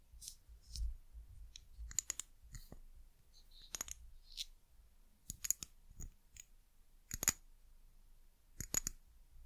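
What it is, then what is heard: Glass bottle tapped with fingernails. Long nails tap on an amber glass bottle with a white cap and label. The result is a quiet series of short, sharp, bright clicks and taps with a faint glassy ring that dies away almost at once, separated by soft low rustling.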